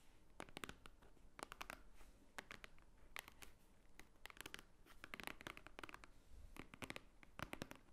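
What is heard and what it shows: Long painted nails of both hands tap on a large, thick, solid block of white paper pages resting on a wooden table. Quick, dry, bright clicks come in rapid clusters and flurries, each tap dying away almost instantly over a faint low hum.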